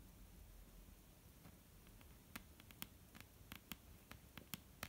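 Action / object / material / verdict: tap / wooden tabletop / wood / none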